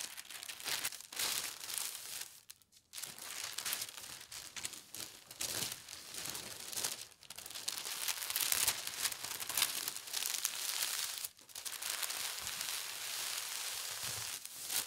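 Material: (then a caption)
Paper. A large, thin, light teal tissue paper sheet lies spread flat on a patterned table mat while both hands with long red-painted nails smooth and rub it with fingertips and palms. The result is a continuous, bright crinkling and rustling, almost entirely high in pitch with very little low end, broken by brief near-silent pauses around 2.7, 7.2 and 11.3 seconds.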